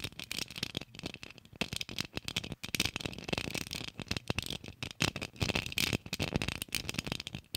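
A small, hollow, rose-gold Christmas ornament ball with an embossed geometric pattern and a gold cap, probably shatterproof plastic, is held in both hands close to the mic and tapped and scratched with long acrylic nails. The result is a rapid, uneven stream of dry, bright clicks and scratchy rustles that stop almost instantly, with a faint steady tone near 2.5 kHz running underneath.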